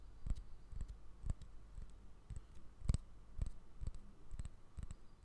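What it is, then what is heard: Bamboo jar lid. A small, solid round bamboo jar lid with a pale silicone seal ring is held in one hand and tapped and scratched with painted fingernails. About fourteen quiet, dull, woody clicks fall at an uneven pace over a soft scratching hiss. Each tap dies away almost instantly.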